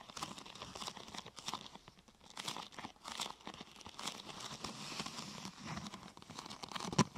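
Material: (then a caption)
Plastic. A thin, glossy purple plastic sheet curved into a hollow half-tube is pressed and scratched by hands across its top and sides. The result is continuous crinkling and crackling with bright, rustling texture, ending in a sharp, louder crackle just before the clip ends.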